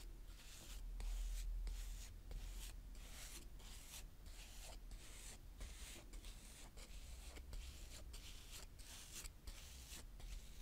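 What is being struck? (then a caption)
Kinetic sand scraped with a small plastic spade. A small blue plastic spade, held by fingers with dark-painted nails, scrapes and draws through a flat patch of brown kinetic sand on a plastic tray. It makes repeated soft, gritty scraping strokes with a bright, airy hiss, separated by brief pauses, over a steady low rumble.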